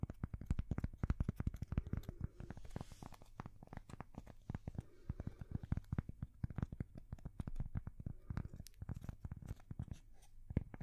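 A thin, solid, square cork coaster held at the microphones is scratched and tapped with long fingernails. Rapid, dense, dry taps and scratchy rustles come through with a heavy low-end thump and almost no ring, and their loudness rises and falls throughout.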